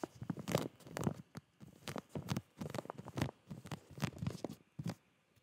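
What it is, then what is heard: Plastic zip bag of boxer shorts. A full clear plastic zip bag of boxer shorts, about 25 cm tall, is held up and tapped and squeezed with fingertips. The plastic crinkles in a string of short, soft, dry bursts with quiet gaps between them.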